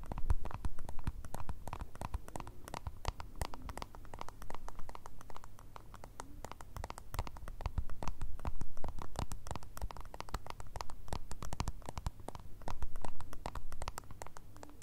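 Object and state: Plastic round remote control.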